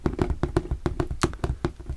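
Fingers tap on a flat-pack plastic shoe storage box with a textured surface, giving a quick run of dull, hollow taps with a faint ring near 344 Hz. About eleven short, separate taps are heard, each dying away almost at once.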